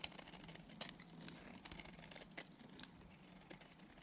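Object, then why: Bar of soap cut with a blade. A solid, dry, pale green Timotei soap bar held in the hand is shaved with a box cutter blade. The sound is a continuous run of quiet, bright, crisp scraping and cutting. Short, sharp flakes of sound stand out above a faint low hum.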